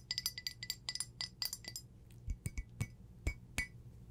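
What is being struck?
Glazed ceramic teacup.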